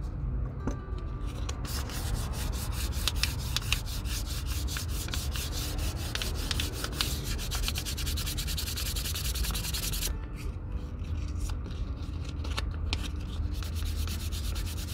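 A small piece of sandpaper, held in the fingertips, is rubbed in fast strokes over the toe of a leather Red Wing Pecos 9801 cowboy boot. The result is a steady, dry scratchy rasp with a low rumble underneath. The brighter, hissier sanding from about 1.5 to 10 seconds thins out afterward.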